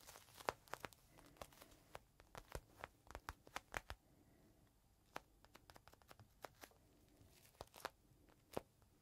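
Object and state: Plastic bag with microfiber cloth.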